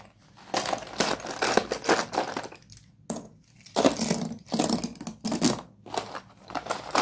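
Fingertips rake and crush through a large pile of small, solid broken slate pencil fragments in a cardboard box. Bursts of dry, gritty crunching and crumbling come in waves, bright and broadband with little low end. Short quiet gaps fall between the passes.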